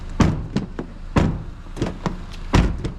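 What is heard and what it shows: A used Malibu's sheet-metal body panels are knocked on in a series of short, dull, solid thunks, low-pitched with almost no ring. The panels give no hollow sound, showing no faulty sheet-metal or paint repair and no problem with the car's bodywork.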